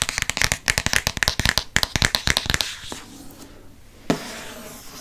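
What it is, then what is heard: Hardcover book cover tapped with fingernails. Fingertips and nails tap rapidly on the front of a green hardcover book with a glossy cardboard cover, giving about twenty quick, bright, dry clicks over the first two and a half seconds. The taps then give way to a soft, hissing trace across the cover, broken by one sharper tap near the four-second mark.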